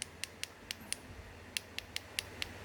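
The other side of a hard lime-plaster Buddha amulet is tapped ten times, giving short, sharp, bright clicks with almost no ring. The clicks sound firm and hard, as expected for hard lime plaster.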